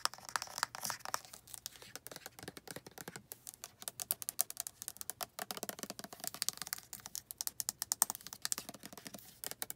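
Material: Plastic.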